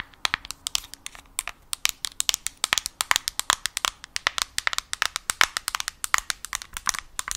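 Long nails tap and scratch the glossy screen of a yellow Nintendo Switch Lite. A rapid, uneven run of sharp, bright clicks, each dying away almost instantly, is joined by faint crinkly scratching between taps, with almost no low end.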